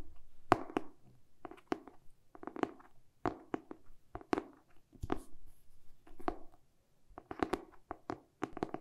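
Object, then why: Hardcover book, glossy cardboard cover. Fingertips and short nails tap and scratch the glossy cardboard back cover of a hardcover book held in both hands. Quick, dull taps with a hollow mid-range knock around 700 Hz and no ring come in irregular bursts, with soft brushing scratches between them, all at a quiet level.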